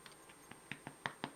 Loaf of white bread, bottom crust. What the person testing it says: Sounds hollow? That means it's done.